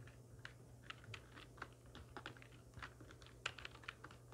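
Long nails and fingertips of both hands type on a full-size black plastic computer keyboard with hollow keys resting on a wooden desk. Roughly twenty quick, dry, bright clicks and clacks sound over a steady low hum. The keystrokes stop short with no ring.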